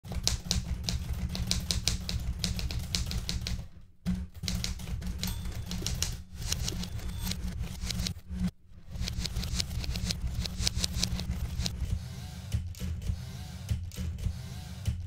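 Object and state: Manual typewriter typing.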